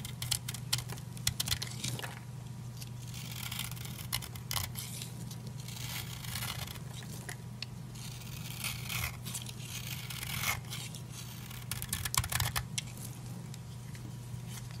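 A utility knife blade shaves and cuts flakes off the surface of a solid purple oval bar of dry soap held in the palm. The clip is a run of dry, crisp scraping and crumbly cutting strokes with bright, tearing-like texture. A steady low hum sits underneath throughout.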